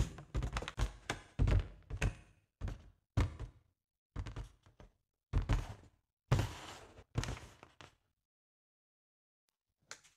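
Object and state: Latex balloon.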